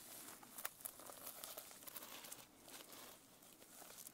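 Long nails scratch and tap the sequins on the cover and spine of a closed sequin-covered notebook held edge-up. The result is a quiet, bright, crinkly rustle with sharp, short clicks scattered through it, and almost no low end.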